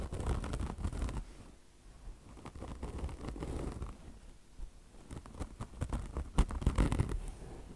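Long blue nails scratch a beige peanut-shaped car wash sponge, its polyester mesh top stretched over foam with a chenille fringe, while fingers drag across the mesh. The result is rapid, uneven scratching and rasping in quick bursts with a dull low rumble underneath, easing off briefly before growing louder and sharper near the end.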